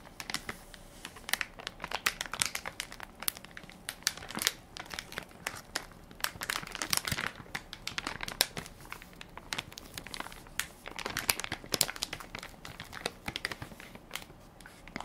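A hand-sized Equate baby wipes soft pack made of crinkly plastic film, full of wipes and held in one palm, is pressed and crinkled by fingertips and nails. The result is a steady run of dense, bright crinkling with many sharp crackles that fade almost instantly, coming in busier bursts over very little low end.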